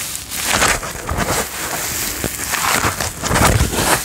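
A thin white paper towel sheet is held up in one hand and rubbed and crinkled with the fingertips and palm of the other hand. It makes a steady, dense crinkling rustle with a bright, papery hiss, swelling louder and softer over the few seconds without any clear separate strikes.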